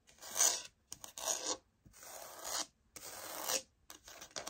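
Long nails scratch and tap the surface of a light oak laminate wood-look floor sample held upright. Four longer, bright rasping scratch strokes are separated by short gaps, with a few quick light taps in between and near the end. There is almost no low-end body.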